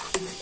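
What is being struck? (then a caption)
Antique rusted iron cannon. Two sharp knocks on a centuries-old rusted iron cannon that looks like wood or a coconut stump at a glance, struck to show it is iron and not wood. Each knock is a bright, clicky metallic tap with almost no ring, over a faint steady hum. The cannon is solid iron and too heavy to lift.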